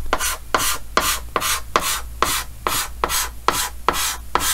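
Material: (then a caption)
Chalk. A red chalk stick held in the hand scratches repeated short hatching strokes across a large, flat, dark green chalkboard in a wooden frame. Eleven quick, evenly spaced gritty rasps with bright, scratchy highs sound over a steady low hum.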